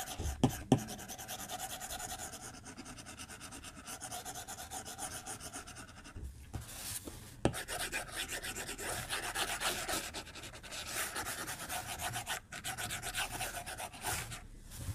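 The plastic tip of a white Apple Pencil strokes and scratches across the glass screen of an iPad-size tablet lying flat on a white desk while drawing, with the other hand resting on the tablet's edge. The result is a steady, rhythmic run of soft, bright scratchy rubbing strokes, with a few sharp taps of the tip near the start and midway through.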